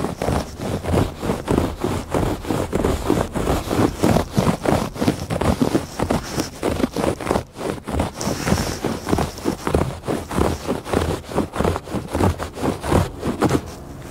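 Fingertips and nails scratch back and forth across the weave of a woven fabric rug. The result is a steady run of rapid, rough scratching strokes, about one and a half per second. Each stroke is a short, dry rasp weighted toward the low and middle range, with little bright content.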